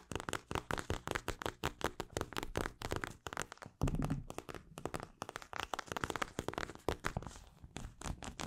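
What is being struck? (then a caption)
Plastic eye mask filled with gel beads. Long acrylic nails tap and scratch a mint-green plastic eye mask filled with gel beads. Quick, soft, clicky taps come in a steady stream, with a denser, louder scratchy rustle near the middle of the clip.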